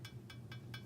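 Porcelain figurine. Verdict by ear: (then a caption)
Hollow. Four gentle taps on a hollow Walt Disney Classics Collection (WDCC) Beauty and the Beast fine art porcelain statue give short, bright, high-pitched clinks over a steady low hum. The hollow ring shows the piece is porcelain.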